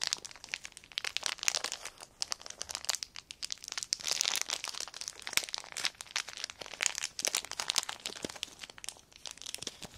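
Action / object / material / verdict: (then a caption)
scrape / thin clear plastic sheet / plastic / none. A small clear plastic sheet held in the air is crumpled, folded and crinkled between fingertips. It makes a continuous stream of sharp, dry crackles and crinkles, bright and high with almost no low end, and each snap dies away instantly.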